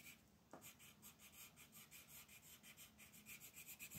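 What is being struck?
Wooden colored pencil on a paper sheet.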